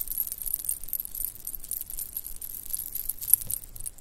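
A small stretchy bracelet of pink shell chips, white round beads and silver metal spacers is held in both hands and shaken with long painted nails, jingling the pieces against each other. The result is a steady, quiet stream of bright, tiny clinks and rattles with a soft low rumble underneath and one slightly sharper click near the end.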